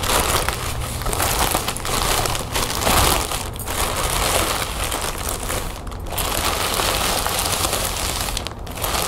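A thin lime-green plastic shopping bag printed "crazy 8" is crinkled, crumpled and smoothed flat with fingers and long nails. The result is a steady, dense crackling and rustling that stays bright and busy for the whole clip, with a faint low hum underneath and only brief dips in the noise.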